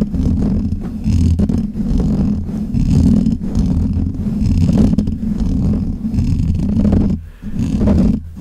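Fingertips and nails scratch and rub the black hollow metal mesh grille of a desk microphone, producing a steady, dense low rumbling scrape with a muffled, bassy character and almost no bright content. The rubbing runs nearly continuously, with brief drops in level near the end.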